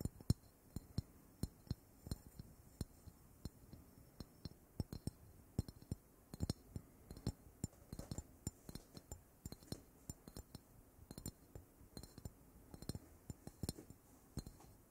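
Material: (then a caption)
Ceramic. A ceramic object is gently tapped over and over in an irregular rhythm. Each tap gives a quiet, very short, glass-like clink with a bright edge over a low, soft body.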